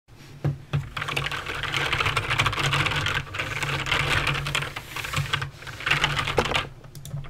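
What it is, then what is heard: Plastic mechanical keyboard. Fingertips with long nails type rapidly on a full-size backlit Razer BlackWidow mechanical keyboard with clicky green switches and plastic keycaps on a metal and plastic frame. A dense stream of bright, crisp clicks and clacks is heard, each with a short low thud beneath it. Brief lulls break up the flurries of typing.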